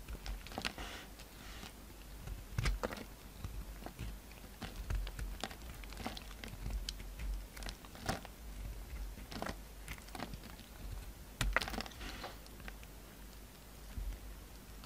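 A utility knife blade shaves and scrapes the edges of a solid white soap bar, mostly stripped of its red layer and held in the hand. Soft, crisp scraping and crunchy shaving strokes come in irregular bursts over a quiet low rumble, with short bright crackles that die away almost instantly.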